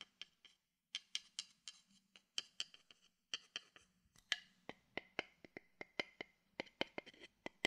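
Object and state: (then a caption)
Wooden bowl tapped with a stick. A wooden stick taps a hollow, empty wooden bowl held beside the mic, producing a steady series of quiet, dry, wood-block-like knocks. Each knock is short and bright with a clear ring near 3.1 kHz that dies away almost instantly, with little low-end body.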